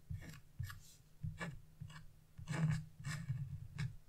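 A narrow chisel tip, held in fingers with long blue-painted nails, scratches a flat wax-coated scratch-off coloring page (black coating over colored paper) lying on a wooden table. A series of short, raspy scratch strokes comes through, each with a dry bright hiss over a steady low rumble. The strokes stop quickly with almost no ring.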